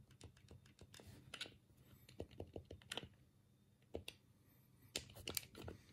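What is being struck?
Plastic game controller.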